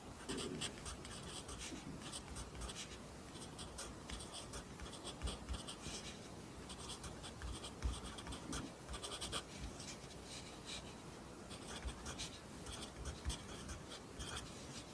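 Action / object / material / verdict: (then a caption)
scrape / graphite pencil on paper notebook page / paper / none. A wooden pencil held in the fingers writes Korean text on an open lined paper notebook page resting on a desk. The graphite tip scratches steadily across the paper in soft, continuous strokes with bright, rustling texture, marked by occasional small taps and low thumps.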